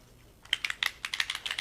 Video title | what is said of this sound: Jerry's LIVE Episode JL191: Alcohol Ink on Clear Acrylic Tiles | anytime you shake it and you hear that sound and has that thing in there